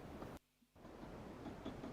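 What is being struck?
Nothing is struck.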